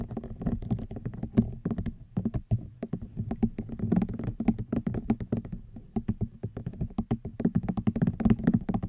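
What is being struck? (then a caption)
Woven rattan basket. A hollow woven rattan wicker basket is tapped quickly with fingernails, producing a dense run of short, dry taps with a hollow low-mid body. Each tap dies away almost at once, with faint bright clicks riding on top.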